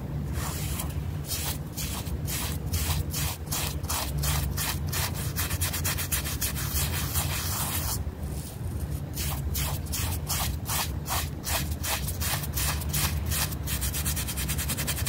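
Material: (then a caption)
Fabric. A small, flat rectangular fabric rug, wet and muddy and lying on a plastic sheet, is held down by hand and scrubbed back and forth with a yellow bristle brush. The result is a steady run of rapid, rasping brush strokes, each a bright broadband swish over a low, rumbling undertone. The scrubbing holds a constant, even level throughout.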